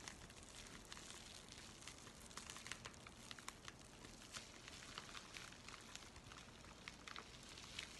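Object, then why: Paper mailing envelope. An empty white paper USPS mailing envelope with a red stripe is held and crinkled with the fingers. The result is a quiet, steady bright crackle with many short, sharp rustling snaps over soft broadband hiss.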